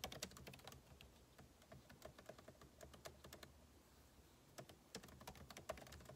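Two hands type with fingertips on the backlit keyboard of a MacBook Pro laptop, plastic keycaps set in a hollow aluminum case. Continuous short, dry key taps with bright clicks come in quick bursts, ease into softer, sparser tapping midway, then pick up again.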